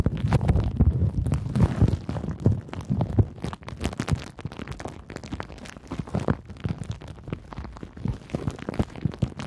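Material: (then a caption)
Plastic. A crumpled sheet of clear pink plastic bubble wrap is held in both hands while long nails squeeze, crinkle and scratch it. The result is a dense, irregular stream of close, low-heavy crackles and soft pops with quick, dry decays and no lingering ring.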